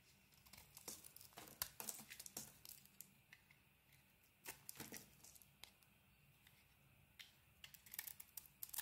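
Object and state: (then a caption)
Soap bar being carved. A utility blade scrapes crumbly white shavings from a hand-sized, solid soap bar with a pink coating and a white inside, held in the palm. The result is quiet, dry, crackly scraping in irregular bursts of short, bright, crisp ticks, with pauses of near silence in between.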